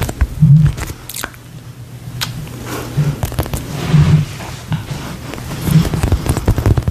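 A hand-sized, solid polyurethane foam toy shaped like a slice of toast with a face is squeezed and tapped with long nails close to the mic. The result is soft, low, muffled squishes and thuds, with faint crackly scrapes and brief, bright nail clicks scattered throughout.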